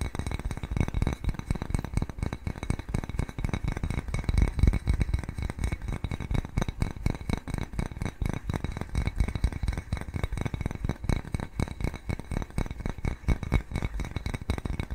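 A small, white, glazed ceramic cat-shaped bowl, hollow and empty, is held upright and tapped with fingernails. It produces a fast, irregular stream of short clicks and clinks that die away almost instantly, with a dull, low-heavy tone.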